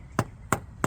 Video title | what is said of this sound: Spent most of my day repairing a rear leaking wheel seal on the Ram 3500. 🔧 🔨 🔩 | No matter where you tap it, you're hearing that solid sound because it's all the way in there